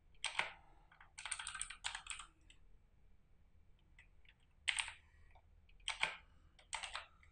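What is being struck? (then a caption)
Plastic mechanical computer keyboard. A full-size RGB-backlit mechanical computer keyboard with plastic keycaps and a hollow plastic case, resting on a desk, is typed on rapidly with the fingertips of both hands. Bursts of quick, bright plastic clicks and key presses are separated by short quiet pauses. Each keystroke is short and sharp, with little low end.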